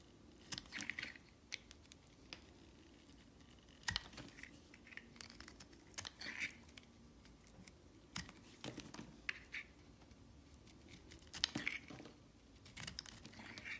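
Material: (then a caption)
Soap. A metal utility knife blade scrapes and shaves thin slices off the surface of a solid, palm-sized green glycerin-style hard soap bar with gold decoration, held in one hand. The sound is a series of short, crisp, bright scraping strokes and clicks, some in quick bursts, over a faint low hum. Each stroke cuts off sharply with almost no ring.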